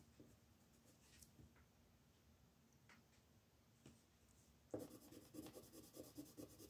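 A wooden colored pencil, held in a right hand with red painted nails, shades a thin paper coloring book page lying flat on a dark wooden table while the left fingertips hold the page in place. Faint, sparse scratches give way to a louder, dense run of rubbing and scratching pencil strokes with a dry, bright grain.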